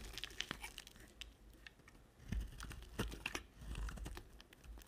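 A small black-handled knife repeatedly shaves, scratches and chips pieces off a solid white bar of soap with red edges held in the hand, with the shavings piling up on a white surface. The sound is a quiet run of dry, crisp scraping and crunching with bright, crackly chips and short low thumps.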